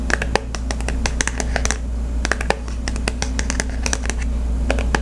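Fingertips and nails scratch and tap the printed surface of a small, flat Visa gift card in its glossy cardboard holder, held in the other hand. Quick, dry, sharp clicks and brief scratches come in an irregular stream over a steady low hum.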